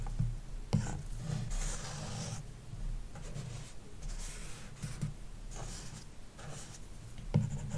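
A plastic stylus tip, held by a hand with long dark nails, draws strokes across a large iPad glass touchscreen fitted with a matte, paper-like screen protector, lying flat on a wooden desk. Soft scratching and rubbing come in bursts of bright hiss over a low, steady rumble, with a couple of sharper taps near the start and end.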